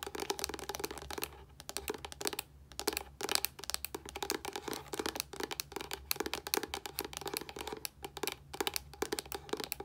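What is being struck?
Plastic body wash bottle.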